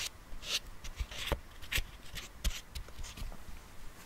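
Fingertips and nails tap and scratch the rim and sides of a small, hollow, round silver metal tin with its lid partly open, held close to the mic. About seven short, sharp taps land among bright, papery scratching, each with a soft low thump that dies away almost instantly.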